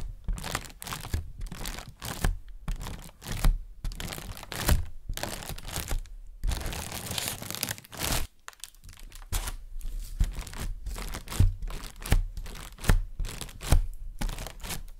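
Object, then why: Air-filled thin plastic carrier bag. A thin white translucent plastic shopping bag, inflated with air into a hollow balloon-like shape, is held in both hands while fingertips with painted nails press, tap and rub its taut surface. Dense, dry crinkling and crunching rustles come in bursts with short pauses, punctuated by soft, dull taps, and a sustained hiss of rubbing fills the middle. At the end the bag is brought close to the face.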